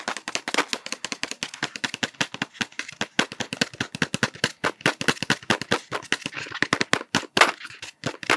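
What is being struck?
Cardboard sweets tube.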